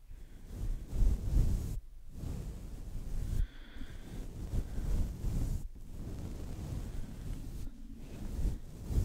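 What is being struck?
Nothing is struck.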